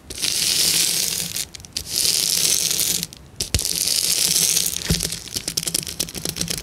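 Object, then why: Sheet of plastic bubble wrap. A flat sheet of clear plastic bubble wrap with hollow air bubbles is scratched and tapped with the long nails of both hands. Bright, hissy scratching comes in long bursts separated by short pauses, with a faint low steady tone underneath. Toward the end it gives way to a quicker run of sharp crackling taps.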